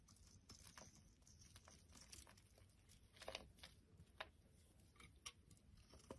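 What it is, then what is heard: Bar soap being shaved. A solid oval orange soap bar held in the hand is shaved into flakes with a metal utility blade. Quiet, crackly scraping and crinkling strokes run throughout, with a few sharper, brighter snaps as the blade cuts through.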